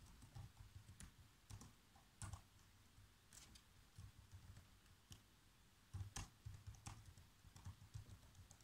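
Fingertips type on a black plastic laptop keyboard, producing a steady run of quiet, repeated key taps. Each press gives a soft, low thud with a short bright click that dies away almost at once, and a few harder strokes stand out among the lighter ones.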